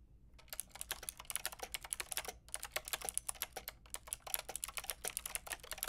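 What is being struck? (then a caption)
Plastic mechanical keyboard with round keycaps. Long painted nails and fingertips type on a white-pink backlit mechanical keyboard with round plastic keycaps. Rapid, bright, clacky key taps come in a steady stream, with a brief pause near the middle. The taps are sharp with almost no ring.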